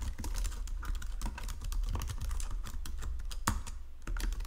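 Fingertips with painted nails type quickly across the low-profile keys of a full-size white and silver plastic Logitech keyboard resting on a marble desk. The result is a dense, continuous stream of short, bright plastic clicks and taps, with no separate hits standing apart, over a steady low hum around 70 Hz.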